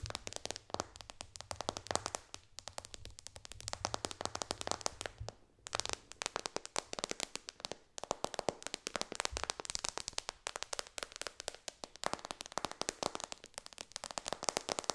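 Long dark nails on both hands tap fast on the glass touchscreen of a white iPad lying flat on a pillow. The result is a dense, continuous stream of sharp, bright clicks with almost no ring. Brief pauses break the stream, and a faint low hum sits underneath for the first few seconds.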